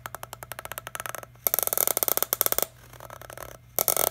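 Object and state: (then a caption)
Empty plastic water bottle. Fingertips tap the green cap of a small, empty, hollow clear PET plastic water bottle, then crinkle and tap its ridged body. The result is a run of quick, dry, clicky taps followed by louder, bright crackling bursts and softer tapping. The sounds come in short clusters separated by brief pauses.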